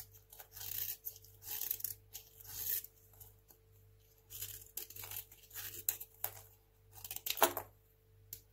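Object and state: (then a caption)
Dry soap bar being shaved. A craft knife blade shaves thin, crunchy slices off a small, solid, dry white hotel soap bar held in one hand. Short, bright scraping and crunching bursts come in quick strokes separated by brief quiet gaps, over a faint steady low hum.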